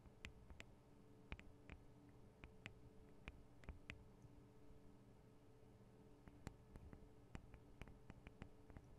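Small hollow microphone capsules with metal grilles and plastic bodies on a black Tascam DR-40 recorder are tapped and lightly scratched with long acrylic nails. Quiet, sharp clicks with bright tops sound over a steady low hum, each dying away almost instantly.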